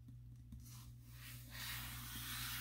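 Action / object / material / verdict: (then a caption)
scrape / glossy paper catalog / paper / none. A closed, glossy paper furniture catalog, a thin solid stack of pages lying on a table, is rubbed and tapped on its cover with the fingertips of both hands. Soft, dry rubbing with faint taps grows into a steadier, brighter swishing hiss over the second half, above a constant low hum.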